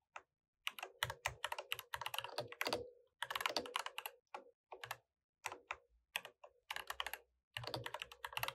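A mechanical keyboard with plastic keycaps is typed on continuously by two hands tapping the keys with their fingertips. Rapid, sharp, bright clacks come in uneven bursts with short pauses between them, each stroke dying away almost instantly and some carrying a faint low thud underneath.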